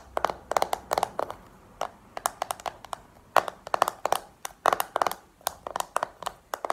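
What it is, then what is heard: Plastic compact case. Long painted nails tap in quick clusters on a small, hollow, round black plastic makeup compact held in the hand. The taps are crisp, dry and clicky with a hollow midrange tone, and each dies away almost at once. Brief quiet pauses separate the flurries.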